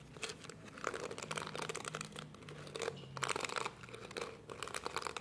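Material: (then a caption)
Plastic. Fingertips and nails scratch and rub the dense, flexible plastic bristles of a small, palm-sized pink and purple plastic detangling hairbrush with a hollow shell body. The result is a continuous run of dry, crinkling, crunchy scratches with bright high-end texture and brief quieter pauses between bursts.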